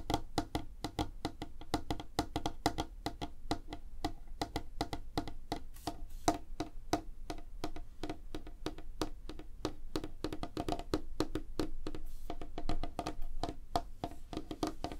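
Fingertips and nails tap rapidly on a light, solid wooden tabletop. The result is a continuous stream of short, dry, woody clicks with a tone around 690 Hz over a soft low thump. Each tap dies away almost instantly.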